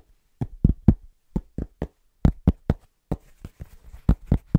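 A cork object is tapped and knocked fast by hand, giving fourteen short, dull, low thuds with almost no ring and no high-frequency content. The taps come in an uneven rhythm, some in quick pairs, over about four and a half seconds.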